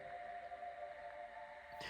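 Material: Nothing is struck.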